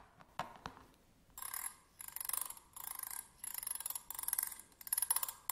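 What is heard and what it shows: Slim metal tweezers lie flat on a table while a thin pointed stick scratches back and forth across their ridged grip. Two light ticks come first, then six bursts of quick, bright, raspy scraping, each made of rapid clicks from the ridges.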